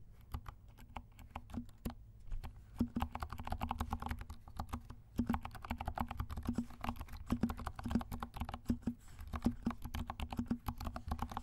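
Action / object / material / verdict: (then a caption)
tap / plastic mechanical keyboard / plastic / none. Fingertips of both hands type steadily on a compact black mechanical keyboard with silent switches and black and pink plastic keycaps. The result is a quiet stream of soft, muffled clicks and low thuds that die away quickly, with a faint low hum underneath and a busier burst of typing in the second half.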